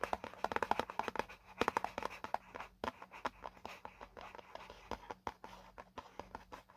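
Fingertips tap and scratch rapidly on the printed panel of a hollow white paperboard product box. The result is a quick, uneven run of short, dry, papery taps with scratchy rustles between them, centered in the mids and dying away instantly with no ring. A faint steady low hum sits underneath.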